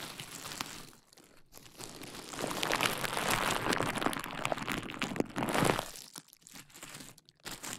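Fingertips and nails pinch, pop and crinkle a large sheet of clear plastic bubble wrap draped over the mic. The result is a dense, bright crinkling scattered with sharp little pops, growing louder and busier through the middle of the clip before thinning out into quieter crackles near the end.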